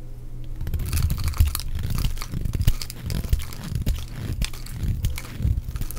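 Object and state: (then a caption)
Dry bar of soap. A metal utility blade shaves and scrapes curls off the surface of a solid, palm-sized pink oval bar of dry soap held in one hand. Dry, crunchy scraping strokes repeat irregularly, each carrying a bright crackle over a heavy low rumble. There are brief sharp snaps as curls break away.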